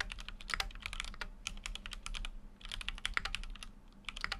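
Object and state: Mechanical keyboard typing.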